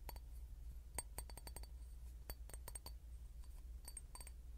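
A clear glass bottle is tapped in a dense, irregular run of short, bright clinks with high ringing tones that fade almost at once. A steady low hum sits underneath throughout.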